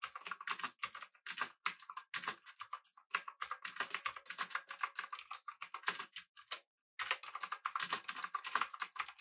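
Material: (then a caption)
Plastic. Fingertips of both hands type continuously on a full-size pink typewriter-style mechanical keyboard with an aluminum body, round plastic keycaps and backlighting. Many rapid, sharp clicky keystrokes with a bright, crisp clatter and almost no low end, broken by one brief pause near the end before the typing resumes.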